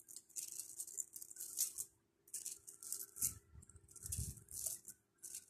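A long strand of small pink plastic pearl beads, held close to the mic, is shaken and rolled between the fingers so the beads clatter together. The result is a bright, dry, rattling patter in uneven bursts, with brief silent pauses and a few soft low thumps of handling underneath.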